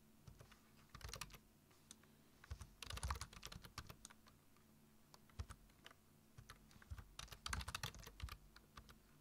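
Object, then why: Plastic computer keyboard. Fingertips type on a black plastic computer keyboard, tapping the keys in quick clustered bursts separated by short pauses. Each keystroke gives a short, dry click with a soft low thump under a bright tick, over a faint steady low hum.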